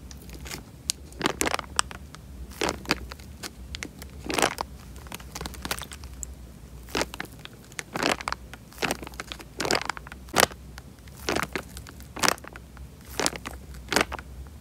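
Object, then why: Tied plastic bag filled with water. A tied, clear plastic bag full of water is pressed and squeezed by hand, giving repeated bursts of bright crinkling and crackling plastic. The bursts are short and irregular over a quiet, steady low hum.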